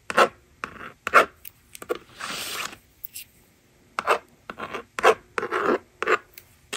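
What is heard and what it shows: A plastic magnetic drawing board rests on a table as its screen is erased and a plastic stylus writes numbers across it. Short, dry rasping scratches come in uneven bursts of mostly mid-range tones, with one longer, steadier swipe partway through. The strokes end quickly with almost no ring, and there is no low rumble.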